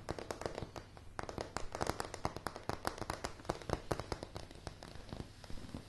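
Long polished fingernails tap rapidly across a light wooden plank floor. The sound is a dense, irregular run of short, crisp clicks with a soft low thump under each, every tap dying away almost instantly.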